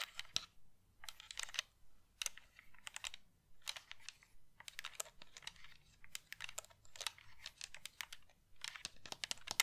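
Long painted nails tap and click on a pink hand-held plastic game controller with a hollow shell and colored buttons, held close to the mic. Quick, bright, dry clicks come in rapid clusters separated by short pauses, each one stopping almost instantly with no ring.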